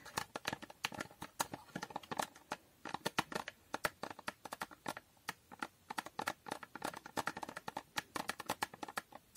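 Long painted nails tap and scratch a small, empty-looking, hollow rectangular cardboard box with a holographic foil coating, held in both hands. A quiet, steady stream of rapid, crisp clicks and scratchy taps comes through, with a papery midrange around 900 Hz, bright edges and almost no low end. Each tap dies away almost instantly.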